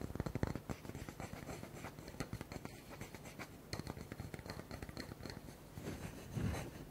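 A round, solid wooden log slice with a bark edge, about a hand-span wide, is held in both hands while fingertips and nails quickly tap and scratch its flat face. The sound is a quiet, continuous stream of soft, dull taps and dry scratching with mostly low, muffled tones and almost no ring. A slightly louder burst of scratching comes near the end.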